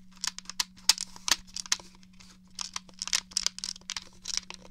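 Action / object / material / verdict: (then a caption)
tap / plastic game controller / plastic / none. Fingernails tap the buttons and casing of a hollow grey plastic N64 game controller held up in the air, making about seventeen quick, sharp, bright clicks. Each click is dry and ends almost at once, with a faint steady low hum underneath.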